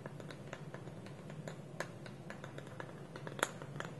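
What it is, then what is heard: Wooden bowl with lid, nail-tapped. Fingernails tap quickly on a small, hollow, polished wooden bowl whose wooden lid is held against it with both hands on a table. The result is a quiet, steady stream of short, dry clicks that die away almost instantly over a low, constant hum, with a couple of sharper, brighter taps standing out.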